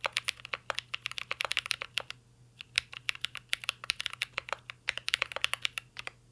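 Fingertips of both hands type continuously on a mint green Cyberboard R3 mechanical keyboard with a metal case and plastic keycaps. Rapid, bright, clacky keystrokes with almost no ring follow one another, with a brief pause around the middle, over a faint low hum.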